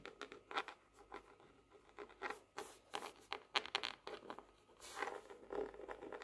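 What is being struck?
Laminated cardboard hardcover notebook.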